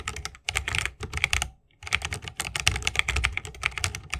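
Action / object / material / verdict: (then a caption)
tap / mechanical keyboard with plastic keycaps in a wooden case / plastic / none. Fingertips of both hands type fast on a 60% mechanical keyboard with plastic keycaps on tactile Holy Panda switches, set in a solid bamboo wooden case with RGB lighting and resting on a wrist rest. Rapid, bright clacks with a low thocky body come in quick bursts, broken by a short pause partway through.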